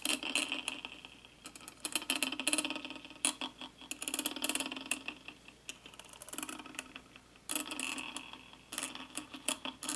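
A small wooden-handled brush rubs and sweeps across the hollow metal mesh grille of a handheld karaoke microphone with a black plastic body and LED ring, held close throughout. Bright, scratchy bristle noise comes in uneven bursts with quick ticking, rattly clicks, rising and fading as the strokes come and go.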